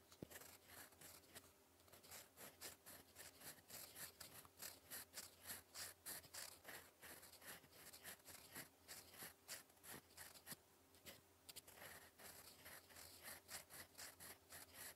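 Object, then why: Metal fountain pen nib on a paper sheet. A gold metal fountain pen nib drags across a flat sheet of lined cream writing paper, writing in cursive. It makes quiet, dry, scratchy strokes, bright and hissy, coming in quick, uneven bursts that rise and fall with each letter. A faint, steady low hum runs underneath.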